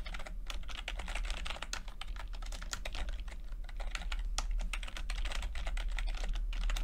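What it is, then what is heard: Plastic computer keyboard being typed on. Fingertips type steadily on a plastic backlit chiclet computer keyboard with plastic keycaps, producing a rapid stream of light, crisp clicks with bright, high-reaching transients. A constant low hum sits underneath throughout.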